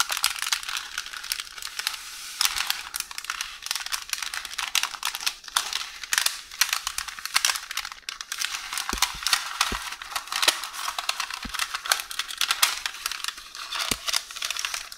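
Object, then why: Roll of baking paper. Long orange nails press, scratch and crinkle a crumpled, partly unrolled beige roll of baking paper resting on a counter. A dense, bright rustling and crackling runs throughout, made of many quick crisp crinkles with almost no low end and a few sharper snaps.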